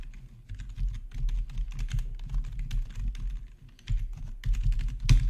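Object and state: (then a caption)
Plastic membrane keyboard being typed on. Fingertips of both hands type steadily on a black plastic membrane RGB-backlit gaming keyboard. The keys make a continuous stream of soft, muffled, low-pitched taps and thumps with short decays, ending in a slightly louder, brighter clack.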